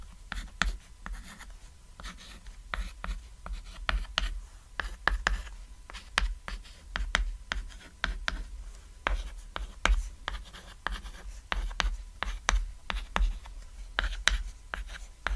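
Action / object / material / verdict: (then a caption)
scrape / small thin chalkboard written on with chalk / chalk / none. White chalk writes text on a small, flat, cat-silhouette chalkboard, a thin solid board lying on red fabric. Quick, dry chalk strokes and sharp taps come in a steady run of short, bright bursts that stop instantly. A low, steady hum sits underneath.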